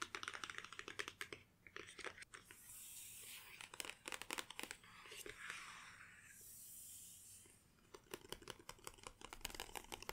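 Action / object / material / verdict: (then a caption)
tap / closed cardboard box / cardboard / none. Long painted nails on both hands tap and scratch the top of a closed, long flat white cardboard Apple Watch SE 2 box lying on a table. Quick, dry, bright clicks come in rapid bursts at the start and end, separated by soft, hissy scratching sweeps across the surface. The taps stop instantly with no ring, and the whole clip stays quiet.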